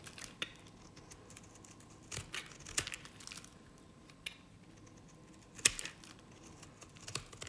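A knife blade scrapes strips from the face and edge of a dry, cream-coloured solid bar soap by Nevskaya Cosmetics. The result is quiet, crisp, bright scraping and crumbly crackles in short, irregular bursts, over a faint steady hum.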